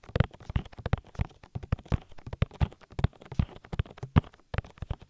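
Fingertips tap an oily silicone ear of a binaural microphone in a rhythm. The result is a steady run of soft, deep, muffled thumps with short decay, with little high-end content.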